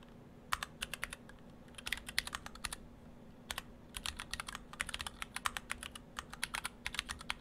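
Fingertips of both hands type on an Orthodox Rev3.1 split ortholinear mechanical keyboard in two halves, with clear acrylic cases, white and cyan PBT dye-sub keycaps and stock Gateron Brown switches. Short, bright, dry key clacks come in quick bursts, with a brief pause near the middle, over a faint steady low hum.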